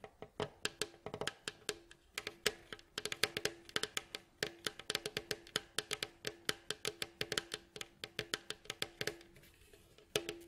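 Fingertips and nails tap and scratch along the staves of a mandolin's hollow, glossy, striped wooden bowl back. About 48 quick, dry knocks come in an uneven but steady run. Each is bright and short with a faint hollow ring around 430 Hz and almost no low end, and one slightly louder tap lands near the end.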